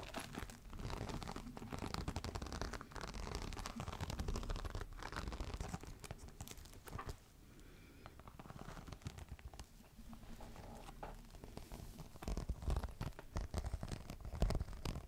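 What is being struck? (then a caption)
Embossed faux leather clutch. A green crocodile-embossed faux leather clutch, first lying flat and then picked up and held upright, is scratched with long nails across its embossed scales. The result is a dense, continuous run of dry, crinkly scratching with a heavy low rumble underneath. It quiets and softens for a few seconds in the middle, then returns louder with sharper strokes toward the end.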